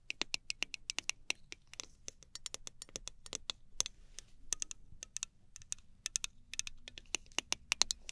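Fingernails scratch and tap a small gold aluminum travel spray bottle, striking both its metal body and its clear plastic cap. Dozens of quick, crisp, bright clicks and light scratches follow one another, each dying out almost at once, with little low end and a quiet overall level.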